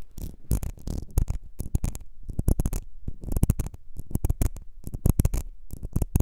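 Long nails tap the glass base of a small, ribbed, clear glass perfume bottle that is partly filled, then scratch along its ribbed sides. The result is a rapid, irregular run of short, dry taps and scraping bursts that are heavy in the low end and stop with almost no ring.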